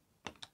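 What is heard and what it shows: A fake plastic driver's license card, bought online, is dropped and lands with three short, light, bright clicks and almost no ring. It sounds faint and dull compared with the original card, marking it as fake.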